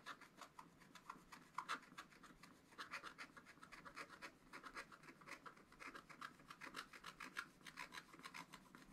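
A wooden stylus rubs and scratches the black wax-coated coating of a scratch-art paper page over a bird's wing, the page held in a spiral notebook on a table. Quick, dry rasping strokes repeat in an even rhythm, each a short bright scrape with a slight papery tone around 1 kHz and almost no low end.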